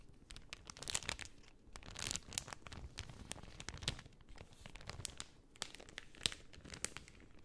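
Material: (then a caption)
Cellophane. A pink cellophane sheet held flat on a lap is rubbed and scratched with long nails and crinkled. It makes a steady stream of quiet, bright crinkling and tearing-like crackles, with sharp snaps scattered throughout and a soft low rustle beneath.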